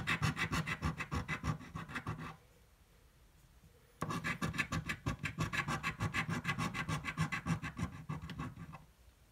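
A coin scratches the coating off a red, thin card scratch-off lottery ticket held flat by one hand, making rapid, rhythmic rasping strokes with a low thud beneath them. The scratching stops for about a second and a half, then resumes at the same brisk pace and fades out near the end.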